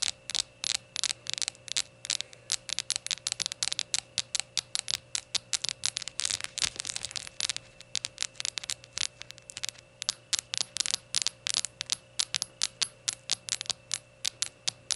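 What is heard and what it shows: Rainbow shot glasses are tapped and fidgeted with, producing a rapid, steady stream of bright, sharp clinks with almost no ring. The taps come in quick, irregular bursts over a faint low hum, and each one is crisp and high-pitched.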